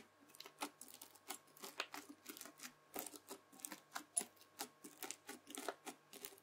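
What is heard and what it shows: A white plastic fork scratches and drags across red bead-filled floam slime flattened on a table. It makes a rapid series of short, crisp, bright crunching and crackling bursts over a faint steady background tone.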